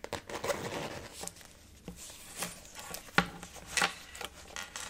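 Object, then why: Synthetic leather zip wallet. Long natural nails and fingertips tap the top and side of a closed, blue flower-printed synthetic faux leather zip wallet resting on a table. About thirteen soft, dry taps and clicks stand out over a low rubbing, scratchy texture, with a few sharper, brighter nail clicks. The wallet gives a muted, short response with almost no ring.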